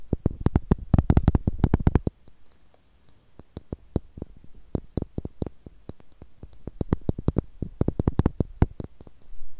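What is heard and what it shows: Long nails tap a small, hollow blue plastic screw cap, making sharp, dry clicks. A loud, rapid burst of tapping in the first two seconds gives way to quieter, sparser clicks, then the taps grow denser again toward the end.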